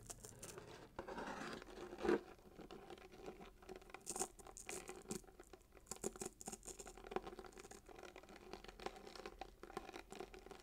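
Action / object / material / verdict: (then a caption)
scrape / cardboard gift box wrapped in paper with a ribbon / paper, cardboard / none. Fingernails scratch rapidly across the red wrapping paper and gold glitter ribbon of a small paper-wrapped cardboard gift box held in one hand. The result is a quiet, dense run of papery scratching and crinkling, with a louder scrape near two seconds and brief bright bursts throughout. Each stroke dies away almost at once.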